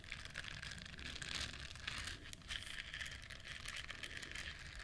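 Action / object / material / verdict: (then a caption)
scrape / duck-shaped silicone bristle scrubber / silicone / none. Long nails scratch across the soft bristles of a yellow, duck-shaped silicone bristle scrubber held in both hands. The result is a steady, dense crackling and crinkling texture, bright and hissy, with a strong band around 2 to 3.5 kHz. Its level swells and dips only slightly over about five seconds.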